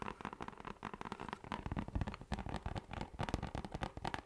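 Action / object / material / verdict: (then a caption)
tap / round plastic lid / plastic / none. A round orange plastic lid with a textured surface is tapped and scratched with fingertips and nails. The result is a quiet, steady stream of quick, dull taps and crackly scratches, weighted toward the low end, with each sound dying away almost at once.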